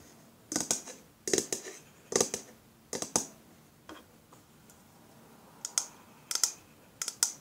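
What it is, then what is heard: Aluminium spray can tapped with fingernails. Long fingernails tap and scratch a pink aluminium deodorant aerosol spray can, a hollow metal cylinder that first lies on a table and is then held up. Bright, sharp clicky taps come in irregular clusters with quiet gaps between them. Each tap dies away almost immediately, with little low end.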